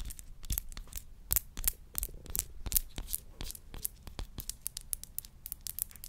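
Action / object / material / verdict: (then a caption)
tap / small glass perfume bottle / glass / none. Long nails tap and scratch a small glass perfume bottle with a pink rose cap. A rapid, uneven stream of crisp, bright clicks and short scratchy strokes plays over a faint low hum. Each tap cuts off almost instantly.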